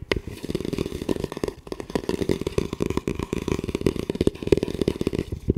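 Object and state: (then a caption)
Composite tactical helmet. Fingertips tap and scratch the shell of a hollow camo composite tactical helmet with a velcro panel, and fingers grip its front mount. The result is a dense, quick run of dry, hollow taps with a resonant tone near 390 Hz, mixed with scratchy rustling. Each tap dies away almost at once.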